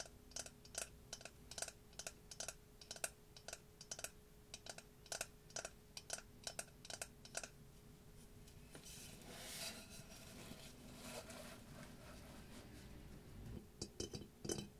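Fingertips and short nails tap across a single hollow glazed ceramic face mask, painted with blue eye detail and gold lips, lying on a dark table. A steady run of crisp, dry clicks with almost no ring fades into a softer rubbing, scratching stretch. A few final sharp taps close the clip.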